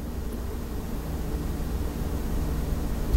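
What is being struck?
Nothing is struck.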